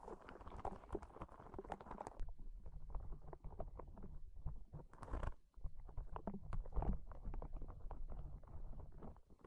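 A small, hollow, yellow-green soft rubber spiky sensory ball is held in one hand and squeezed and rubbed with the fingers. Brighter, scratchy rubbing in the first two seconds gives way to a dense run of soft, dull, low thuds and rubbery pats, with a brief rustling burst near the middle. The sound stays quiet and bass-heavy throughout, with each contact dying away almost instantly.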